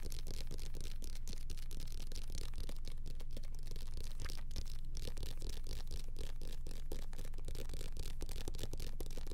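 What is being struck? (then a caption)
Paperback book with glossy paper cover. Fingertips scratch and tap the glossy paper cover and page edges of a small, solid paperback book, *The Boxcar Children*, held in both hands close to the mic. A steady, dense stream of fast, fairly regular scratches and taps sits over a heavy low rumble, with brief bright crackle on each stroke.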